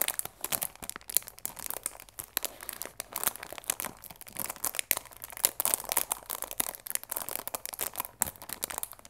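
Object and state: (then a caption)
Cellophane-wrapped cardboard tea box. Long nails and fingertips rub and crinkle the clear plastic film wrapped around a cardboard chamomile tea box. The result is a steady stream of bright, crackly crinkles and sharp little snaps that die away almost instantly, with almost no low end, continuing throughout.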